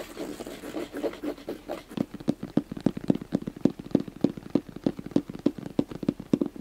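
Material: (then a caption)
Fabric. Fingernails and fingertips scratch across the fabric top of a gray, hand-sized, hollow hard zip case for about two seconds, making a dense, soft rustling scrape. The sound then shifts to quick, steady taps on the same top, roughly three per second. Each tap is a short, dull, hollow knock with almost no ring.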